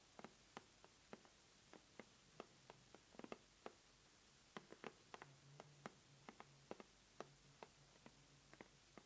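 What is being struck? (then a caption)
Corrugated cardboard box tapped with fingernails. Long manicured nails and fingertips tap and scratch the lid of a closed, medium-sized red corrugated cardboard subscription mailer box, hollow and apparently filled, lying on a table mat. About twenty quiet, sharp, dry clicks land at an uneven pace, each dying away almost instantly with a bright edge. Between them is only a faint low hum.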